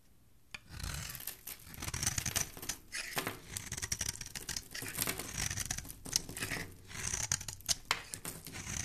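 A hand-sized solid rectangular yellow soap bar is held in the hand and scraped and shaved with a metal blade, curling off soap shavings. Bright, crisp scratching strokes repeat in quick succession, each with a dry rasp and a soft low rub beneath.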